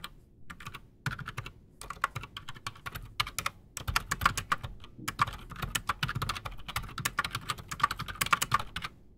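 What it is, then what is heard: Mechanical keyboard with PBT keycaps. Both hands type fast with their fingertips on a solid, full-size black Redragon Shrapnel K589 mechanical keyboard on a desk, fitted with Outemu Silent Sky silent switches and Razer PBT plastic keycaps. It makes a rapid, uneven stream of short, muted clacks with a bright edge and a soft low thump. Each keystroke dies away almost instantly.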